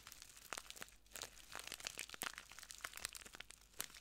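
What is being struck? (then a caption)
Small plastic bag filled with granules. A small clear plastic bag full of translucent granules is squeezed and crinkled between ringed fingertips, then pressed flat at the end. The result is a quiet, dense run of bright, sharp crinkles and crunchy crackles, mostly high in tone with almost no low end, each burst dying away instantly.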